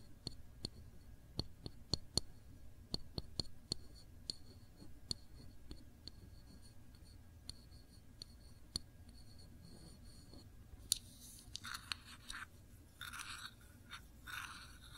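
A small glass jar full of cranberry jam is held sideways while long nails tap slowly on its label and glass. The taps give short, sharp clicks with a bright ringing tone, spaced out over the first ten seconds. Softer scratchy, rustling tracing sounds follow near the end.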